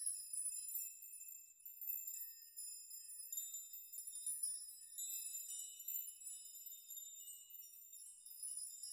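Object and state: Metal nail chime.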